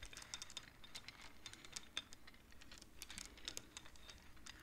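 Fingertips slide the painted wooden beads of a wooden abacus along its rods, clacking them together. The result is a quiet, rapid patter of dry, bright clicks, each very short with no ring, over a faint low rumble.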